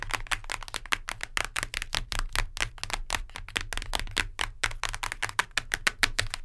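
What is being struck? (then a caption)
Hardcover book with cardboard cover. Long nails tap rapidly on the cardboard cover of a hardcover book. The result is a fast, steady stream of sharp, bright clicks with almost no ring, over a faint low hum.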